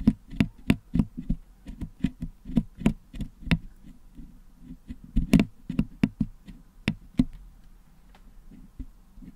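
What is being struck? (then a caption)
Metal mesh microphone grille packed with putty, picked with a wooden toothpick. A wooden toothpick picks at the holes of a Blue Yeti microphone's hollow metal mesh dome grille, which is packed with red and blue putty, cleaning the putty out. About eighteen short, dry ticks and taps come at an uneven pace, each with a dull low body and a brief bright click that dies almost instantly. Softer scraping fills the gaps, and the picking grows quieter toward the end.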